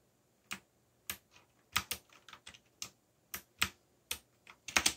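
Fingertips press keys on a backlit mechanical keyboard with black plastic keycaps, typing at an uneven pace. Each keystroke is a short, bright plastic click with almost no low end. The clicks die away almost at once, with quick bursts of several keys near the end.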